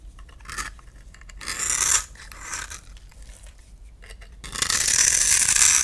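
A utility knife blade scrapes a solid rectangular white bar of soap held in the palm, shaving it into fine powdery shavings. Short bright, hissy scraping strokes come and go with quiet gaps between them. A longer, louder, steady scrape builds through the end.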